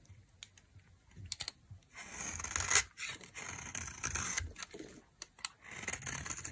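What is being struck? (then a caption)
Soap bar scraped with a metal knife. A solid beige rectangular dry soap bar is held in the hand while a metal knife with a white handle carves and scrapes thin flakes off its face. Bright, dry scraping strokes alternate with short crisp ticks and flaking crackles, each fading almost instantly.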